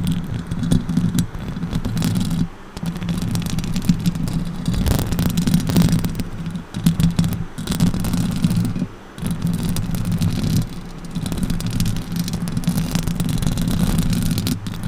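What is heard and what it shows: Long orange nails on both hands scratch and rake the hollow metal mesh grille of a silver Blue Yeti microphone. The result is a dense, heavy, low rumbling scrape with a steady low hum, briefly dropping quieter around 2.5 and 9 seconds.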